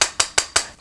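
Four quick knocks on a Prym Comfort Twist knitting mill (an I-cord maker) give sharp, bright clacks that die away fast. The knocks show it is sturdy and has some weight, unlike cheaper purple plastic cord makers.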